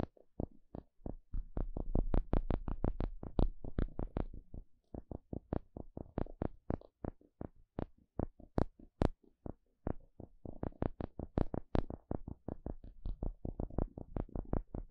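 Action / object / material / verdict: tap / small flat wooden spatula / wood / none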